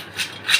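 Fried namak pare, a flour snack, give two short, bright, dry crunching rustles as the pieces are put down, with almost no low end. The crisp sound shows they turned out crisp and crunchy.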